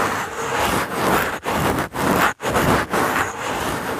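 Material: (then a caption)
Wood. A small, solid, dry brown pine cone with woody scales is held in the fingertips and rubbed across a foam microphone cover. Its scales make a steady, dry, broadband scraping and rustling, centered in the midrange, that rises and falls as the cone moves back and forth, with brief quiet gaps between strokes.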